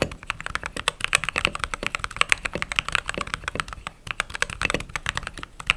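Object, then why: Mechanical keyboard with plastic keycaps. Steady typing on a white/cream mechanical keyboard with plastic keycaps, done with fingertips, long nails and rings on the fingers. A rapid, uneven run of sharp, dry clacks is heard, bright and clicky with little low end. Each keystroke stops almost instantly, with no ring.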